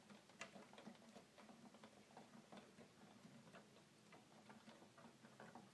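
Fingertips press the plastic piano keys of a hollow red plastic toy keyboard. They make a quiet, steady stream of short, dry clicks with brief bright edges over a faint low hum.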